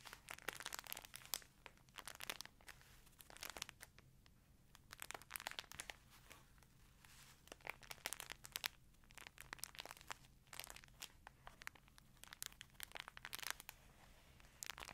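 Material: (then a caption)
Plastic. A green printed plastic chip bag held in one hand beside a microphone is crinkled and squeezed. Bursts of bright, crisp crackling come in clusters with short quiet gaps between them, over a faint low steady hum.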